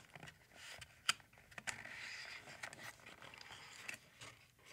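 A small, hollow, glossy printed cardboard basketball card box (Locker Series), lying flat on a wooden table, is tapped and scratched with fingertips across its printed surface. Quiet, dry, bright taps and a sustained scratchy rustle are heard, with a sharper tap standing out near the one-second mark. Each tap dies away almost at once, with no ring and almost no low end.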